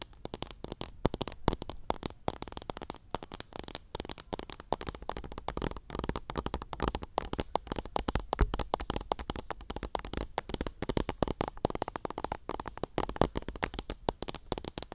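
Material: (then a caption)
Plastic, cotton. A small clear pink plastic cup packed full of teal cotton swabs is held up close while long nails scratch across the bundle. A dense, continuous stream of dry crackling and scratchy clicks fills the clip, with many fast, tiny, sharp ticks over a soft low rumble.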